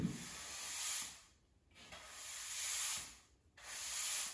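A blue-and-black plastic push broom sweeps a small dust pile across a bare, solid grey cement floor, its bristles rubbing and scraping the surface. Three long, bright, hissy strokes swell and fade, separated by brief near-silent pauses.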